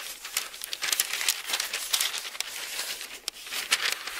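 An open bible with thin paper pages is held in two hands while the pages are flipped and rubbed between the fingertips. The result is a steady run of bright, crisp crinkling and rustling with quick papery snaps and almost no low end.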